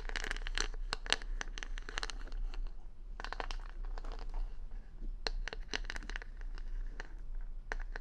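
Long nails scratch across the colorful plastic rhinestone stickers covering the back of a hand-sized solid wooden paddle hair brush, held close to the mic. The result is bursts of quick, bright clicking and crinkly scratching that come in clusters and pause briefly, over a steady low hum.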